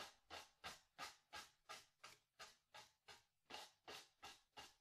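A wide bristle brush with a wooden handle scrubs blue paint across a small white cotton canvas on a wooden stretcher frame, hollow behind, in 13 rapid, evenly paced strokes. Each stroke is a short, bright, breathy scratch that swells and fades quickly, with almost no low end.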